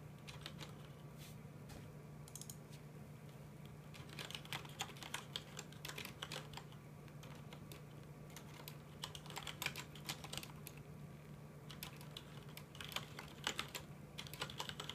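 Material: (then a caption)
Plastic. Both hands tap with their fingertips on a full-size black plastic mechanical computer keyboard with some red keycaps, resting on a desk. Quiet, short clicky keystrokes come in fast bursts with brief pauses, bright and dry with almost no ring. A steady low hum runs underneath.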